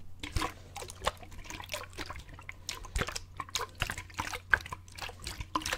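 A clear plastic drinking bottle with a grey screw lid and an inner straw, partly filled with water, is held horizontally in both hands and shaken so the water sloshes inside. It makes a quick run of soft, irregular splashes and bright liquid clicks over a faint steady low hum.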